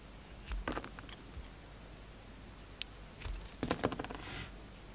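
A steel utility knife blade shaves the bronze coating off a solid, hand-sized oval pink soap bar and slices into the pink soap. Short, crisp scraping clicks come in scattered bursts, a few near the start and a denser cluster toward the end, over a quiet background.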